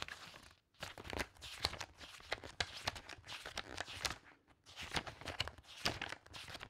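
Fingertips and nails bend a handful of aged paper pages up from a stack of loose book pages and fan and flip them rapidly. The result is a dense run of crisp, bright papery flicks and crinkly rustling, with two brief pauses in between.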